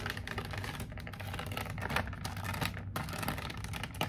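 Long painted nails rapidly tap and scratch a medium-size toy figure set in a clear plastic blister pack on a printed cardboard card, the hollow packaging held up in both hands. A fast, aggressive run of dry, crackly clicks and scrapes plays over a steady low hum.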